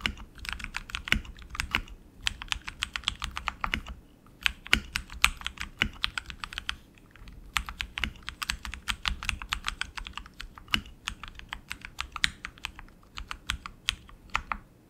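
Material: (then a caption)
Plastic. Both hands type continuously with their fingertips on a tenkeyless RGB mechanical keyboard with tactile switches, plastic keycaps and an aluminum frame. It produces a rapid, steady stream of short, bright clicks and clacks that die away almost instantly, over a faint low hum. The typing briefly thins out around the four- and seven-second marks.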